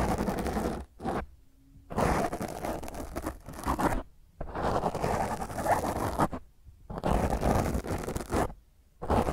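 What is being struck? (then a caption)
Foam microphone windscreen. Long grey nails scratch and rake across a black rounded foam windscreen on a microphone. The result is dense, rough, crackling scrapes with a heavy low rumble, coming in bursts of a second or two with brief near-silent pauses between them.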